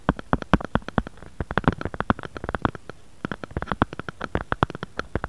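Fingernails tap and scratch the back of a grey-beige plastic or silicone phone case with a bear print, lying flat on a wooden board. Rapid, dry clicking taps come in uneven bursts with faint scratching between them and a short pause near the middle. Each tap is brief and dull, with little ring and weight in the low-mid range.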